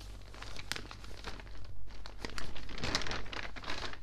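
Fingertips rub the thin pages of an open, water-damaged newspaper, then lift and turn them, making soft, bright crinkling and rustling in irregular bursts. A steady low hum sits beneath the dry, quickly fading paper sounds.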